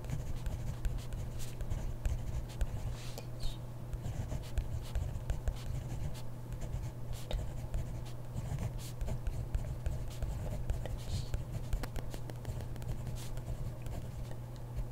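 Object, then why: Ballpoint pen on paper notebook page. A hand writes with a ballpoint pen on a grid paper notebook page, the pen tip scratching across the paper in quick, irregular strokes. The soft scratching and tapping ride over a steady low hum that holds the whole clip.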